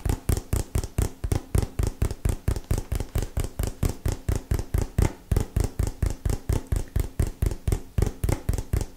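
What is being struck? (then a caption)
Small printed cardboard box. A small, hollow, printed cardboard retail box is held in both hands and tapped with fingernails. About 39 quick taps fall in a loosely irregular rhythm, each a dry, deep, hollow thud with a faint bright click on top. Each tap stops almost instantly.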